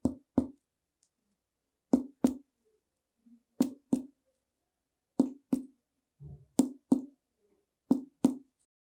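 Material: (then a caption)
Body tissue. A tympanic percussion note is tapped over an air-filled hollow space of the human chest or abdomen, as heard from a hollow viscus or from air in the pleural space over the lung. Twelve short, hollow, drum-like taps fall in pairs with a low pitch and almost no ring. The note counts as abnormal when heard over the lung.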